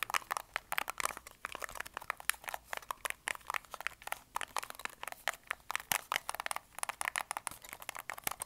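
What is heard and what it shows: A black plastic TV remote with rubber buttons is held in both hands while its buttons are clicked and its body is tapped and scratched with fingertips and nails. The result is a quick, steady stream of sharp, dry clicks and taps with bright, scratchy texture and almost no low end. Each sound stops instantly.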